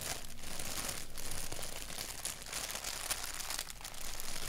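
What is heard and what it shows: Fingertips scratch a thin white paper sheet with a black doodle print, held by its edges. A steady, crinkly scratching rustle with a bright, hissy edge runs throughout in dense, irregular strokes, easing slightly before picking back up near the end.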